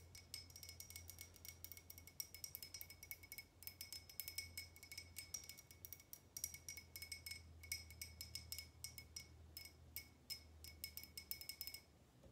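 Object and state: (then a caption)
Glass tumbler with water. A small clear glass tumbler partly filled with water is held and tapped with long painted nails. It gives quick, dense clinking hits with a bright, high ring that dies away almost at once, over a faint low hum.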